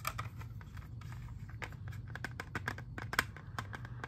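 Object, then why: Hard plastic CD jewel case. A hand-sized, hollow, clear hard plastic CD jewel case holding a disc is held in both hands, tapped and scratched with fingertips and nails, and flipped over partway through. Quick, dry clicks and ticks with a bright edge come in an irregular patter, with one sharper tap standing out near the end. A steady low hum sits underneath throughout.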